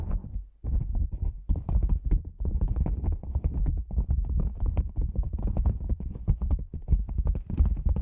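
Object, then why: Padded nylon lens pouch. Long nails and fingertips tap a black padded nylon lens pouch shaped like a hollow cylinder, first on its sides and then on its top. The result is a quick, steady stream of soft, muffled thumps that are deep and boomy with little brightness. The taps die away almost at once.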